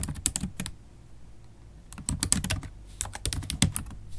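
Rapid typing with long acrylic stiletto nails on a MacBook Pro keyboard with black plastic keys in an aluminium body. Three bursts of quick, bright, sharp clicks are heard, separated by quiet pauses over a low steady hum.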